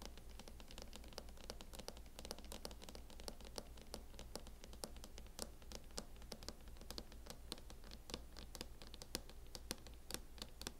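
A fingernail scratches and taps across the lid and edge of a closed MacBook in a mint matte plastic hard-shell case. It makes a dense run of quick, dry, bright ticks and scrapes over a steady low hum.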